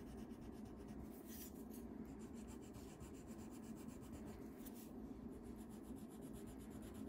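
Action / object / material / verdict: scrape / wax crayon on paper sheet / paper / none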